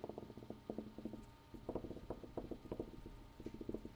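A room wall is tapped with a quick, uneven run of about sixteen soft, dull knocks. Each tap is dry and dies away almost at once, with its energy in the low-mids around 200–500 Hz and almost nothing in the highs.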